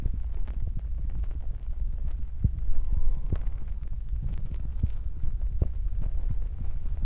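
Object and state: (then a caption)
Foam microphone windscreen being rubbed. Fingertips of both hands continuously rub and press on a soft, porous black foam windscreen covering a recorder's microphone capsule. The result is a steady, muffled low rumble with deep thumps around 74 Hz and scattered soft, dull taps, with almost nothing high or bright.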